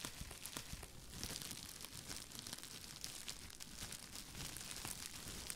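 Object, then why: Plastic bubble wrap. Both hands wrapped in clear plastic bubble wrap are held up beside the mic while the fingers squeeze and crinkle it. The result is a quiet, continuous bright crinkling and crackling full of tiny sharp pops and clicks, with a soft low rustle underneath.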